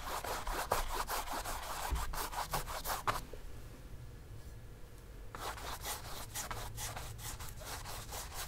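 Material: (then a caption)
Cotton canvas. A flat bristle brush dabs and scrubs black paint along the lower edge of a large stretched cotton canvas, hollow behind on a wooden stretcher frame and lying on a table. Quick, uneven bristly rubbing strokes give a dry, papery scratch over a low hollow thrum from the canvas. The strokes pause for about two seconds, then resume softer.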